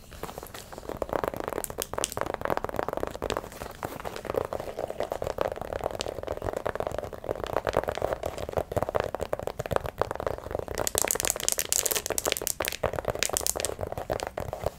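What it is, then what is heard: Faux leather handbag. Long nails scratch and tap the leather surface of a small red faux-leather handbag with metal buckle hardware, held up close. The result is a steady, crinkly, crackling scratch with dense quick taps centered in the midrange, turning brighter and hissier for a stretch near the end.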